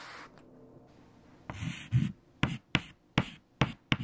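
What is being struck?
White chalk on a chalkboard.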